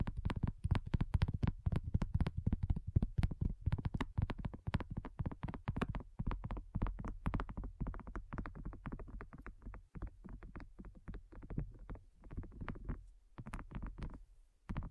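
Long nails tap rapidly on a thin, solid, flat round pink dotted silicone coaster. The taps are dense, dull and muffled, with short, low thuds that die away almost instantly, loudest at the start and softening toward the end.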